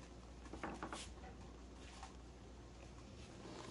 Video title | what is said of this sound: Easy step by step, Sourdough starter, The best Sourdough English Muffin Recipe! | you could hear and tell that they sounded hollow inside and that's how you can tell a lot of times if your Bread's done when you tap on it